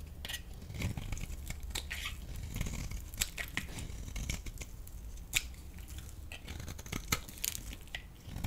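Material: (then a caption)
Soap. A blade scrapes shavings off the surface of a solid yellow bar soap. Dry, crisp scratching and crinkling sounds carry bright sharp clicks over a low, steady rumble. The strokes repeat irregularly throughout.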